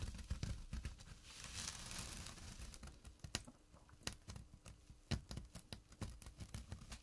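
Fingertips and short nails scratch the coarse weave of a small, flat burlap drawstring pouch. The result is quiet, dry, scratchy rustling that swells into a denser, bright hiss early on, then thins into sparse sharp ticks and clicks over a soft low rumble.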